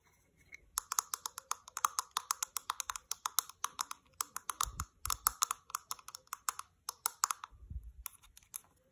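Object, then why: Small plastic cosmetic jar. Long manicured nails tap and scratch the side and flat bottom of a small, hollow white plastic skincare jar with a dark grey screw lid. The result is a fast run of dozens of crisp, bright clicking taps, broken by a few short pauses and occasional soft low thumps.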